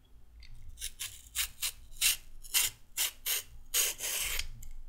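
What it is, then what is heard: Raw carrot being peeled. A handheld metal-blade peeler is drawn in rapid strokes along a shortened raw carrot. Each stroke gives a short, bright, dry rasping scrape with a quick finish, separated by brief pauses in an uneven rhythm over a quiet low background.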